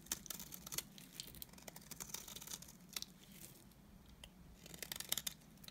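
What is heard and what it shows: A utility knife blade scrapes shavings off a solid, dry, cream-colored rectangular bar of soap with stamped lettering. The sound is a quiet, bright, crisp scraping with rapid crackling ticks and short sharp bursts over a faint low hum.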